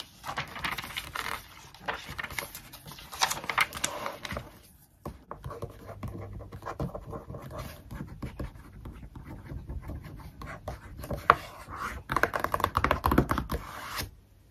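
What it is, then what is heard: Glossy magazine pages scratched and tapped with nails. A glossy paper magazine rests on a desk as a page is flipped, then long acrylic fingernails scratch and tap across the glossy printed pages. The sound is a dry, papery rustle with crisp, bright scratching bursts and light taps. A quieter stretch in the middle gives way to a denser flurry of scratches near the end.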